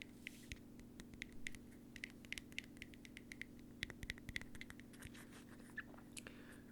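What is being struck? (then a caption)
Plastic bottle cap. A plastic bottle cap is tapped repeatedly, with quick, light, dry clicks. Each tap carries a faint ring near 2 kHz over a steady low hum. Its timbre is distinct from that of a metal cap.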